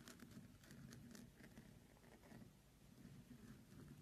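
Fingertips and nails tap and scratch across the rough surface of a large, lit orange Himalayan salt lamp, a solid lump of rock-salt crystal. The result is a quiet, continuous patter of dry, gritty scratching with soft low taps underneath and bright crackly flecks on top.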